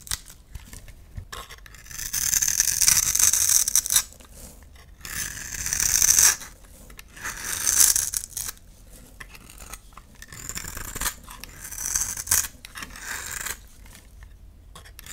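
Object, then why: Bar of soap scraped by a knife blade. A utility knife blade scrapes and carves shavings off the face of a solid orange bar of soap with embossed lettering, held in one hand. Bright, crisp, papery scraping strokes come in repeated bursts of a second or two, separated by quieter pauses with almost no low end.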